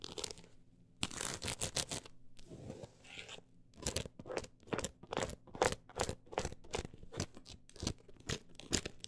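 Long acrylic nails scratch fast across a solid, closed book with a woven-look embossed cover. The result is a quick, uneven series of bright, rasping strokes with a crunchy texture, sometimes in tight bursts and sometimes with short pauses, over a faint steady low hum.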